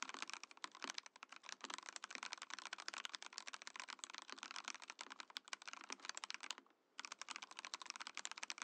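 A compact Mojo68 mechanical keyboard with a clear, translucent plastic case and plastic keycaps is typed on with fingertips. The result is a steady stream of quick, bright, clacky keystrokes with no low end and almost no ring. The typing pauses briefly near the end before resuming.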